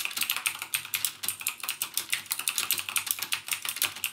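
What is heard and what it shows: Fingertips type rapidly on the clicky blue-switch keys of a backlit plastic Cherry MX Blue mechanical gaming keyboard. The result is a dense, steady stream of bright, sharp clicks with almost no low end, each click dying away almost instantly.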